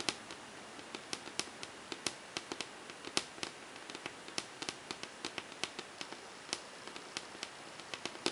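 Long painted fingernails tap quickly on the blank, smooth glossy surface of a large wall-mounted melamine whiteboard, with the hand staying in place. About 36 dense, sharp, bright clicks sound over a quiet background, each dying away almost instantly with almost no low end.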